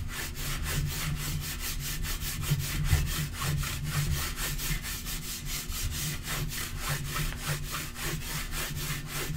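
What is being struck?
Laminate table top.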